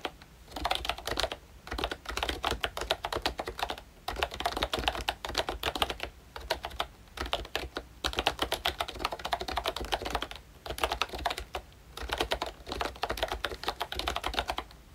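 Fingertips of both hands type steadily on a full-size pink ROYCHE Disney Mickey Mouse retro keyboard, a plastic-cased membrane keyboard with round dark green plastic keycaps. Dense bursts of soft, short clacky taps with a bright edge come in rapid runs, broken by brief pauses every second or two.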